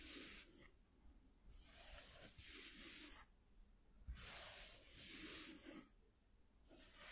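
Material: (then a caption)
Cardboard. Fingertips and nails rub and scratch across a flat white corrugated cardboard piece lying on a dark cloth. Soft, bright, papery scraping comes in repeated strokes lasting about a second each, separated by brief quiet pauses, with a low rumble underneath.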